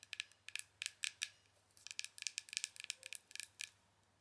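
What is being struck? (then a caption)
Small plastic powder jar. Long acrylic nails tap and scratch the lid, side and bottom of a small, round, hollow plastic loose-powder jar with a silver band. About eighteen quick, crisp, bright clicks come in uneven bursts over quiet background. Each tick dies away almost instantly.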